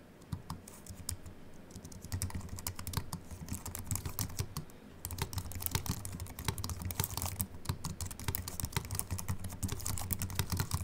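Continuous fingertip typing with both hands on a slim Apple Mac keyboard with an aluminium body and white plastic keys. Rapid, light key clicks with soft low thumps and bright, short-lived ticks run steadily throughout, with a brief lull around the midpoint.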